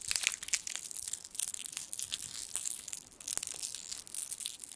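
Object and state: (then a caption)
Foil candy wrapper being crinkled. A small gold foil sweet wrapper is crinkled and twisted with the fingertips close to the microphone. The result is a dense run of sharp, bright crackles and crunches that is almost entirely high-pitched, with no low end.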